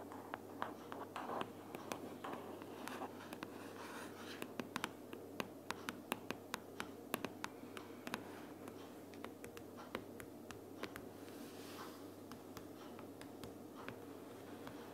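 A closed pink paperboard sticky notes organizer lying flat is tapped and scratched with the long purple nails of one hand. Quick, dry, sharp clicks of nail on cardboard pop out over a steady, quiet bed of soft scratching and rustling, each tap dying away almost instantly. The sound stays faint and close throughout.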